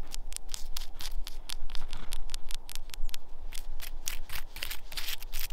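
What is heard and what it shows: Long acrylic nails tap and scratch the white papery bark of a solid, living birch trunk outdoors in snow. A rapid, irregular series of short, dry, crisp scratches and ticks sounds over a steady low rumble.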